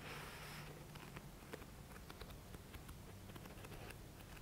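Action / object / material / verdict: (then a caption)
scrape / thick paperback book / paper / none. Fingertips and nails scratch along the page edges of a thick paperback book, making a soft, steady, crackly rasp. Brief bright ticks and clicks from the nails stand out over a low, constant rumble, with a slightly hissier stretch at the start.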